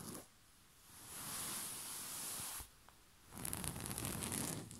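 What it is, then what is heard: Cotton bed sheet being rubbed and scratched. A soft, bunched white rose-print cotton bed sheet is rubbed and scratched with flat hands and short fingernails. A smooth, breathy swish of fabric rises and holds, then drops to near silence before a rougher, crackling scratching texture follows with bright, gritty detail.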